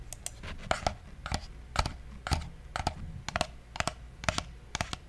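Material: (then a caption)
Plastic. A black, hollow, hand-sized wired plastic computer mouse is held in one hand beside the microphone while fingertips click its buttons. Sharp, short, bright clicks, often in quick pairs, come about once a second over a quiet low hum, each dying away almost instantly.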